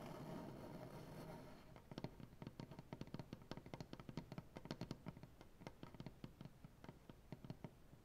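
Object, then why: Maple butcher block tabletop. Fingernail tips tap and scratch on a solid, light maple butcher block tabletop, using both hands along the grain. A soft, rough scratching hiss fills the first two seconds, then gives way to a quick, uneven run of short, dry taps. The taps are low and woody and stop almost at once.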